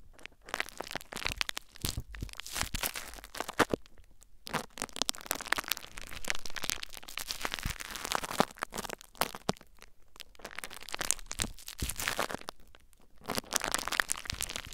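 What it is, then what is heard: Plastic bubble wrap. Fingertips and nails scratch and crinkle clear plastic bubble wrap mounded over a recorder. Dense, bright crackling and crunching rustle in uneven bursts, broken by brief quiet gaps.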